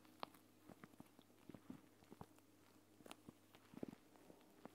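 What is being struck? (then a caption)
Plastic pouch of gel beads. A flat plastic gel bead eye mask, a clear pouch filled with green gel beads lying on a woven mat, is pressed and tapped through the plastic by fingertips with long painted nails. About ten soft, short taps and squishy clicks sound at irregular intervals over a faint steady low hum. Each tap dies away almost immediately, and the overall level is quiet.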